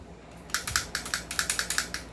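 A stock airsoft rifle, as it normally arrives in the Philippines, is shaken, and its loose, unfixed outer barrel rattles. After a quiet half second, fourteen quick, bright clacks follow with short decays. The loose barrel is faulty, as the rattling stresses and cracks the internals.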